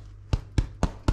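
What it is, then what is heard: Bread loaf, baked through (hollow bottom). The bottom of a white tin bread loaf is tapped four times, each giving a short, low, hollow thud that dies away quickly. The hollow sound shows the loaf is baked through.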